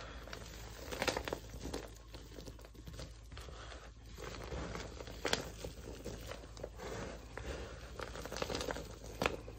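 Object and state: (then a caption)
Crunchy dry soap scraps. A pile of dry, crunchy pink-purple soap scraps on a wooden floor is scooped, pressed and crushed by both hands and fingertips. The result is a continuous crinkling, tearing crunch with sharp, bright crackles over a soft low rumble.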